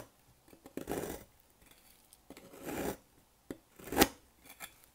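A solid rectangular pink bar of dry soap, held by hand on a table, has its end shaved and cut with a thin metal blade, leaving powdery crumbs. Two soft, raspy scraping strokes are followed by one sharp, bright crisp cut near the end and a few faint trailing scrapes.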